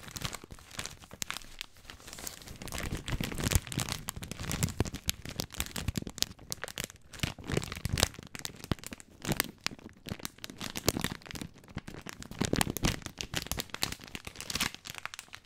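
Fingertips squeeze and crinkle the plastic film of a long, thin, full bag of dry spaghetti (about 500 g) held in both hands. The result is a continuous, dense run of sharp, bright crackles and crinkles with soft, low rustling underneath. The bursts swell and fade unevenly throughout.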